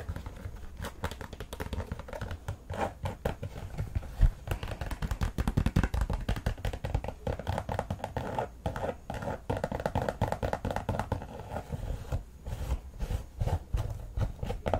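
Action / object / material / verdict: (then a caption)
scrape / synthetic knit soccer cleat / synthetic knit / none. Long nails rapidly scratch and rub across the textured synthetic knit mesh upper and laces of an empty white Nike soccer cleat with a sock collar, held in the hand. The result is a dense, continuous run of quick, dry scraping and crinkling strokes, mostly low and muffled, with very little brightness and no ringing.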